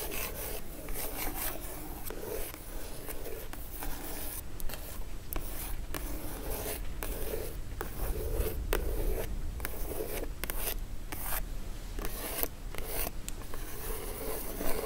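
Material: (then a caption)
Cardboard. Long acrylic nail tips scratch and tap the printed lid of a closed, hollow, dark-blue Christmas-printed cardboard gift box lying flat. Dry, rasping scratches run almost continuously, broken by short, soft taps that die away quickly over a low, steady rumble.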